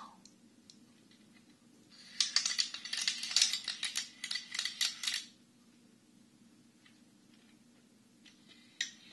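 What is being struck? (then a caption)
Wooden abacus with wooden beads. A Chinese abacus with a wooden frame and red wooden beads is held at both sides and tilted and shaken. For about three seconds, the beads rattle along the rods in a quick burst of sharp, bright wooden clicks. Then it goes quiet until a single click near the end.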